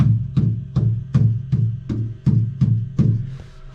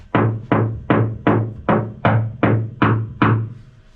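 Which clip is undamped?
The second.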